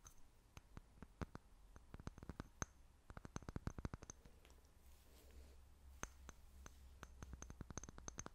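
A small, clear, seemingly empty glass jar held in both hands is tapped and scratched with long fingernails. About 33 quick, sharp clicks with a faint bright ring come in bursts, with a softer scratching stretch near the middle. A steady low hum runs underneath throughout.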